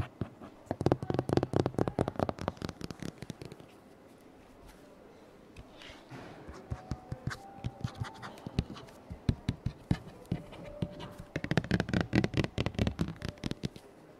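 Fingertips and nails tap and scratch across the glossy printed paper pages of a large open hardcover children's fact book, "Ocean Facts," lying on a table, recorded close up with a handheld recorder. Quick bursts of dry, low tapping come first, then a quiet pause, then softer scratching and page-turning before a final burst of tapping.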